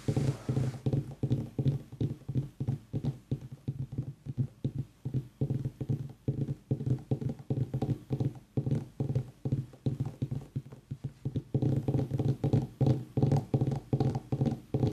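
A pumpkin is tapped with rapid, uneven strokes, giving a steady stream of short, hollow, low thuds. Each tap dies away almost at once, leaving a deep, muffled knocking with little high-end content.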